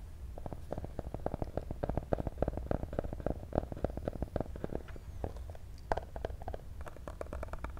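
A small, hollow, black printed cardboard box for a cable is held close and tapped rapidly with medium-length pink-painted fingernails. The result is a steady stream of dozens of quick, dry taps, each with a hollow, boomy low thump under a crisp, brief click that dies away almost instantly.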